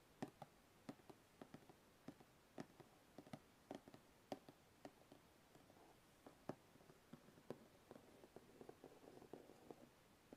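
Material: Cardboard.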